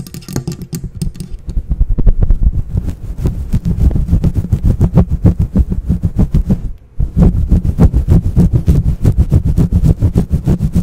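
Long painted nails and fingertips scratch and rub a grey fluffy faux fur cover on a microphone, soft and hollow over the mic capsule. A rapid, uneven stream of muffled, deep rubbing strokes thumps heavily in the lows, with a faint bright crackle only at the very start. There is a short pause just before the seventh second before the scratching resumes.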